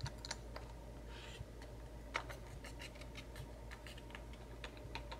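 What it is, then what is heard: Cardboard box tapped and scratched with fingernails. A small, hollow, white-and-pink printed cardboard macaron box filled with loose metal bottle caps is tapped and scratched with fingertips and short nails. Quiet, light clicking taps are scattered among soft scratching over a steady low background hum, with a few sharper, brighter taps standing out.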